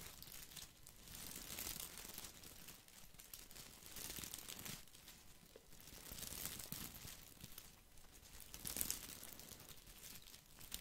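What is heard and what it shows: Fingertips scratch and rub a small green artificial boxwood ball with plastic leaves. The result is a dry, bright crinkling rustle that swells and fades in slow waves every couple of seconds. It stays quiet and close throughout.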